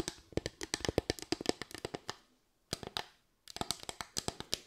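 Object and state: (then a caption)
Bamboo slatted board. Long white nails tap and scratch a solid bamboo slatted board, a flat wooden board with raised parallel slats. Quick, dry, bright clicks come in three rapid bursts separated by short pauses, each tap dying out almost instantly with no ring.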